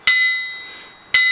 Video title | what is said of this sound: My BIG Anvil - 378 Pound Wilkinson Anvil | you can hear it hear it ringing there's a fair old bounce there